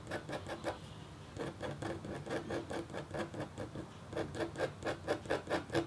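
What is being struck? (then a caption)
Copper foil scratch board scratched with a metal stylus. A red-handled metal stylus scratches a flat, black-coated copper foil scratch art board held in a hand with painted nails. The result is a quick series of short, dry scratching strokes at a few per second, with brief lulls between bursts and a slightly louder, more regular run toward the end.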